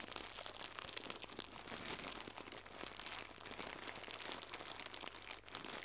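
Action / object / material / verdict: scrape / plastic gift bow / plastic / none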